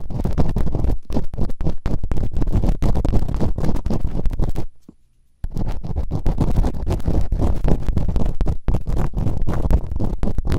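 Bamboo earpicks held in fingertips with long nails quickly scratch and rub inside the open canals of both soft, solid silicone ear models on a white binaural microphone. The sound is a dense, irregular stream of close, muffled scraping thumps with a deep, boomy low rumble. It stops for a brief silence just before the middle, then resumes at the same fast pace.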